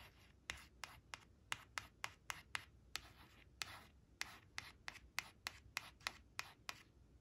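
Long acrylic nails trace the shapes on a thin, flat laminated cardstock picture card of leaves resting on a woven cloth, scratching its glossy surface. The result is a quiet run of crisp, bright, short scratches with soft rubbing between them, about nineteen distinct strokes over seven seconds.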